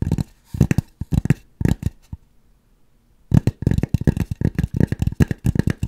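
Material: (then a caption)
Styrofoam. Long nails rapidly scratch and tap on a white styrofoam mannequin head held close to the microphone, making dull, low, crunchy bursts. The scratching comes in quick clusters, stops for about a second, then resumes in a steadier run of short taps and scrapes.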